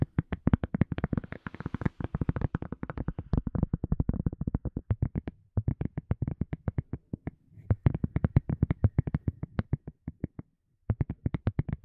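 A silicone cup lid is tapped rapidly and steadily, producing dozens of short, dull, low-pitched taps that die away almost instantly. The tapping runs in quick bursts, with brief pauses before it resumes.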